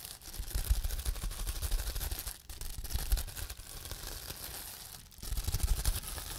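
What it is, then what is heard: Bubble wrap being popped. Fingertips press and pinch the bubbles on a large clear plastic bubble wrap sheet, popping them. The result is a dense, steady stream of crackling pops over a low, bassy rumble of handling, with brief quieter dips near 2.4 and 5.1 seconds before the popping picks up again.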